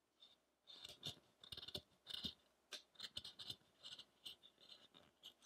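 A small chisel makes short scraping cuts into the side of a solid pale-wood Buddha figure resting on a rough block. The result is a quick, uneven series of dry, bright scrapes, each stopping almost at once with no ring and very little low end.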